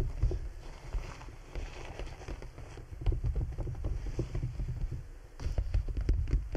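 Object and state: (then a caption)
Clear PVC bubble umbrella. Fingertips of both hands tap across the thin, hollow canopy of a large, clear PVC bubble umbrella, a transparent plastic dome wet with droplets, and near its tip. The result is a dense, soft patter of dull, low thuds with almost no ring, like rain drumming on plastic. The tapping eases briefly just after five seconds, then picks up louder again.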